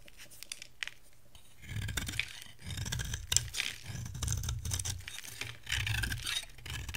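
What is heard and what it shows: A metal cutter blade shaves thin curls off the surface of a dry bar of soap with an orange core and green shell, held in the hand. Bursts of crisp, bright scraping and crackling come in uneven strokes over a low rumble, with short quiet gaps between passes.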